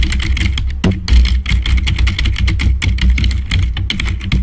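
Fast fingertip typing with both hands on a black plastic membrane computer keyboard produces a dense, rapid stream of short, bright plastic key clicks. A steady low hum runs underneath throughout.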